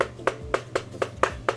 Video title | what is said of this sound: METAL OYUNCU KLAVYESİ -Rampage KB-R19 Manly- | klavyeye vurduğunuzda bayağı tok bir ses geliyor